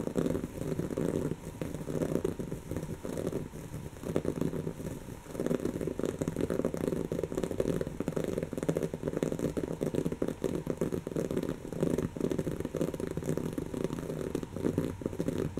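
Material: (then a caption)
Woven fabric. Long natural fingernails of both hands rapidly scratch a soft, stuffed brown cushion of textured woven fabric. The result is a dense, continuous scratchy crackle concentrated in the low mids, with little high-end brightness. It eases briefly near the five-second mark before resuming at a steady level.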